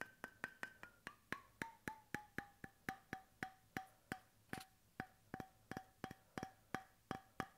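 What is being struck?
Bamboo cap on a steel bottle.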